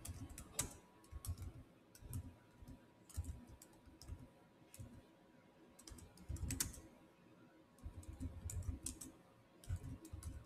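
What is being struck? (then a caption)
Plastic laptop keyboard keys. Fingertips type at a slower pace on the solid keys of a black plastic chiclet keyboard on a silver Samsung laptop. Soft, short key taps come in irregular bursts, each a dull low thump with a bright, quick click that dies away almost at once, over a faint steady hum.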